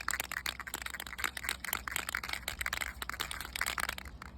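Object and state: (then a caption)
Spray paint can shaken to mix. A metal aerosol rattle can of flat black spray paint is shaken rapidly to mix its contents before spraying. The result is a fast, dry rattle of sharp, bright clicks with a steady low hum underneath.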